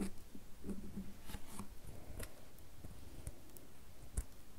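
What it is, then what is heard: Bar of soap being scratched. Long fingernails scratch and carve a solid red bar of soap with shavings on top. Soft, dry scraping sounds sit low and quiet, broken by faint, brief clicks and ticks with a little bright edge, one slightly sharper near the end.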